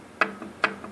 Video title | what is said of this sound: Фиат Палео 1.2 Двигатель троит. Глухой стук под нагрузкой. | такой жесткий стук металлом метал но он будет как бы немножко приглушенный потому что стать бьется по алюминию